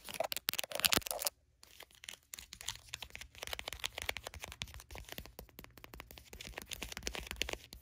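A flat grey bottle-shaped foil sheet-mask sachet lying on a blanket is tapped and scratched with long nails, producing bright, crisp crinkling and rapid clicks. A louder burst of crinkling lasts just over a second, then after a brief silence the quieter, steady tapping and scratching continues to the end.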